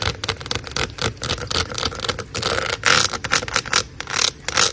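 Long acrylic nails scratch and tap along the ridges of a large, hollow, black corrugated plastic drain hose lying outdoors. The result is bright, rasping scrapes and quick, dry ticking taps in irregular bursts, over a steady hiss that may be rain in the background.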